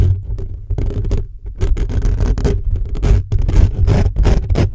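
Fingertips and short nails of both hands rapidly scratch and rub the hollow metal mesh grille of a black condenser microphone. The result is a dense, continuous stream of rough scraping bursts with a heavy, boomy low rumble and brief crackly high edges.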